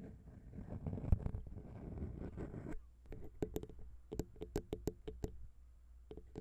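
Long pink nails tap on the small, hollow chrome XY microphone capsules of a Zoom H6 recorder, first with one hand and then with both. A dense, rumbling flurry of muffled, low-heavy taps gives way to a sparser run of sharp, distinct clicks with a brief bright edge and almost no ring.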